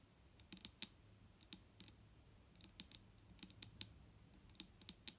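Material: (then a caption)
Plastic. A large, clear plastic micellar water bottle with a green cap lies full of liquid on a wooden table and is tapped with the long nails of both hands. Quick, bright clicking taps come in irregular bursts. Each one dies away almost at once over a faint low hum.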